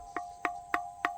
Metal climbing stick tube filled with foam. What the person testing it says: that's filled with foam now if it wasn't filled with foam this would make a real loud ding ding ding